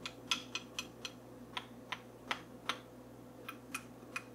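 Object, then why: Small wooden comb. A small solid wooden comb, held up in the hands, has its teeth and body tapped and scratched with long fingernails. The result is a quiet series of sharp, bright clicks, spaced unevenly, each dying away almost instantly, over a faint steady hum.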